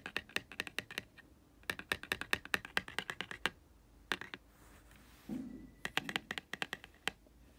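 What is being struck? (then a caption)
Laminated cardboard board book. Fingertips and short nails tap and scratch across the glossy laminated thick-cardboard cover of a small closed Disney Ariel board book lying flat on a grey carpet. Quick, dry, bright clicks come in fast bursts, with short pauses and a soft brushing scratch in the middle.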